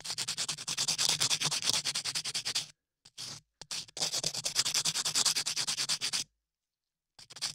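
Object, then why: Dried clay surface sanded with a sanding block. A latex-gloved hand rubs a small sanding block back and forth across dried beige clay sculpted solidly over a microphone ear. It makes rapid, rhythmic, bright scratchy sanding strokes in two long runs, with brief pauses and a few short strokes between them.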